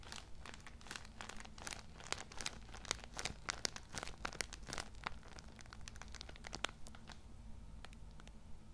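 A Cool Mint tissue multipack, wrapped in plastic film and full of small packs, is held in one hand while fingertips rub and squeeze the plastic wrapper. Quick, sharp, bright crinkles and crackles come thick and steady, with a faint low hum underneath. The crinkling thins out slightly near the end.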